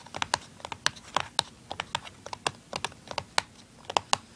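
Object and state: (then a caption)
Cardboard product box. Fingernails scratch and tap the printed side of a small, hollow, open and empty cardboard tuner package. About twenty-one quick, dry, bright clicks come in an irregular rhythm, with a hollow papery body around 830 Hz and almost no ring or low end.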